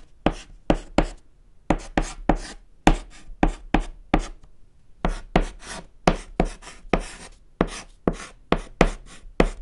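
A thick white chalk stick scratches across a small, solid, flat black chalkboard panel while writing Japanese text. Twenty short, dry strokes sound in quick bursts, each a soft low tap blended with a bright, gritty scrape that stops almost instantly.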